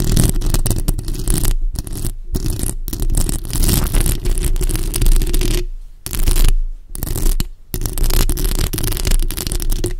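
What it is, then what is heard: Metal mesh microphone grille being scratched. Long acrylic nails scratch both sides of the hollow metal mesh grille on a bare black microphone. The result is a dense, continuous, close-up scraping roar, heavy in low rumble with a faint bright hiss, broken by a few brief silent gaps.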